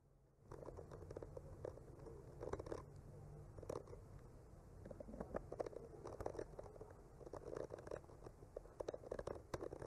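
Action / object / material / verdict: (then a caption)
scrape / painted wooden panel scratched with a bamboo skewer tip / wood / none. The tip of a bamboo skewer traces and scratches across a solid, flat wooden panel painted with trees, working near the lower branches. After a brief silence, a soft, continuous scratching and scraping texture begins, with a faint low rumble underneath. Brief brighter ticks and crackles stand out in short clusters throughout.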